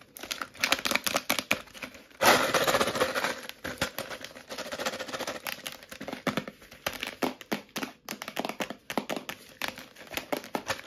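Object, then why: Clear plastic tub with lid containing small metal pieces. Long nails tap quickly on a medium clear plastic Cleanic tub with a lid, filled with small metal pieces, and the tub is shaken. Rapid, bright plastic clicks and taps mix with a sustained rattle of metal bits that swells loudest just after two seconds, then settles back into dense, irregular tapping.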